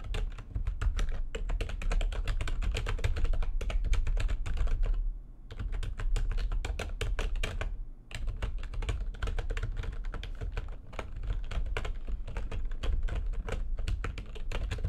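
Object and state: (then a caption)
Plastic computer keyboard being typed on. Fast typing with the long nails and fingertips of both hands on a full-size plastic computer keyboard with white backlit keys. It makes a dense, continuous stream of sharp, short clicks and clacks over a steady low rumble, with brief pauses near 5 and 8 seconds.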